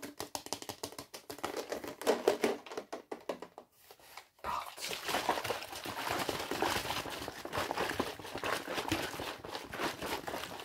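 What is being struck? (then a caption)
Thin plastic soda bottle. A large, clear, hollow plastic Fanta bottle with a yellow label, empty or nearly empty, is held up and tapped and crinkled with fingertips and nails, then moved quickly toward the lens. Rapid, sharp, bright taps fill the first four seconds. After a brief near-silent pause, dense, continuous plastic crinkling and tapping runs to the end.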